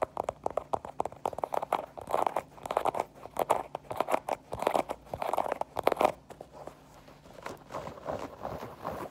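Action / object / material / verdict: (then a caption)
tap / fabric mesh sneaker with foam sole / fabric, foam / none. An empty white Adidas sneaker with a knit mesh upper and a foam rubber sole is held in the hands and tapped and scratched with long painted nails. Quick, dry midrange taps and crunchy, crinkly scratching bursts follow each other rapidly, then ease into softer, quieter rubbing toward the end.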